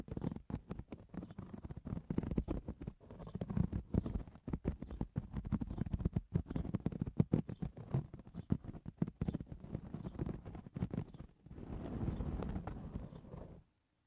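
Fingernails scratch and tap the woven crown of a hollow straw cowboy hat resting on a towel. The result is a dense run of quick, dry scratches and taps that sound low and dull, with little ring. Near the end it shifts to a softer, steadier rubbing swell before stopping.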